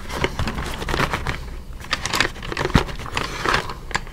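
Fingertips tap and scratch the printed back panel of a small, hollow yellow Crayola cardboard box, likely full of crayons, held upright in both hands. The result is a steady run of dry, crinkly taps and scraping rustles with a soft, low, boxy body, brief bright edges and one firmer thump near the middle.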